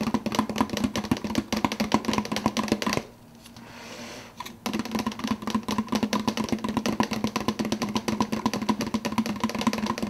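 Fingertips of one hand rapidly tap the clear plastic lid of a large, empty 52 oz translucent blue plastic soda cup while the other hand holds the hollow cup. The result is a fast, dense stream of short, dry, hollow plastic taps with a low resonant body tone and bright clicky edges. Around the third second the taps stop briefly, leaving only a soft rustle, then resume at the same rapid pace.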